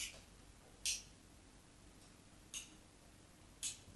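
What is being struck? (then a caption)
Solid soap bar scored with a metal knife. A solid white bar of soap, held by hand, has diagonal lines scratched into its surface with a metal craft knife. Three short, bright, dry scratches stand out clearly against a quiet background, each fading quickly.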